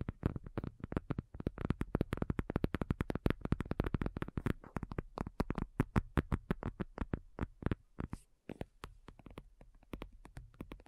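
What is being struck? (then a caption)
Faux leather folding tablet cover. Long nails from both hands tap rapidly on a thin, hollow-backed black faux leather folding iPad cover lying flat. About 67 short, dull, low thuds sound with almost no ring, and a brief pause comes near the eight-second mark.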